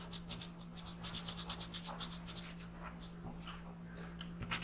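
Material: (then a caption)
Paper. A black pencil makes fast, scratchy shading strokes across a paper coloring page lying flat on a desk, filling in the second eye. The strokes come as a rapid run of bright, hissy rasps over a steady low hum.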